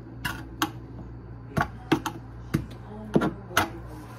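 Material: Particleboard.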